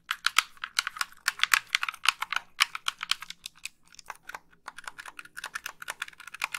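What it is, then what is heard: Plastic game controller. Long pink nails tap and click the buttons of a hollow white plastic Xbox 360 gamepad held up and raised toward the camera. Dozens of rapid, dry, bright plastic clicks and taps come in quick bursts, with almost no low end and no ring after each hit. The clicks briefly thin out around the middle, then return slightly softer.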